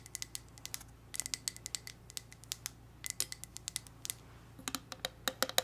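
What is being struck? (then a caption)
Glass candle jar filled with wax. A wax-filled red glass candle jar with a lid is tapped and scratched with long red nails. About thirty quick, bright clicks and taps, centered high around 3.9 kHz, come in uneven bursts over soft scratching. Each one stops almost at once, against a quiet low hum.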